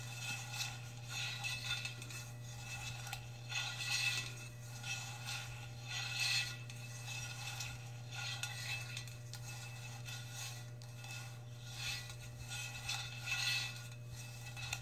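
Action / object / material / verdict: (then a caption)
tap / insulated stainless steel tumbler / stainless steel / none. Long red nails on both hands tap and scratch the brushed metal side wall of a large, hollow, insulated stainless steel tumbler with a lid, probably empty. Bright metallic clinks and scraping swells ring near 2.6 kHz over a steady low hum, rising and falling irregularly throughout.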